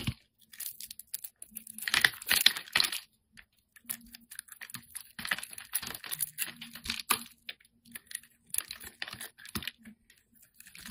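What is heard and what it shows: A solid, round white bar of soap with pink glitter stripes is held in the hand and shaved with a metal utility-knife blade. Crisp, bright scraping and crackling strokes come in short, irregular bursts, with a faint low hum beneath them.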